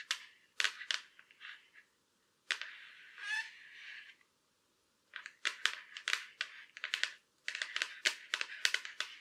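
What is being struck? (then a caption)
Thin laptop lid shell. Long black acrylic nails tap and scratch the surface and edge of a silver Acer laptop lid, a thin hollow shell. Quick, bright clicks come in bursts, with a longer scratchy rubbing stretch partway through and brief silent pauses between groups. A final run of rapid, sharp taps closes the clip.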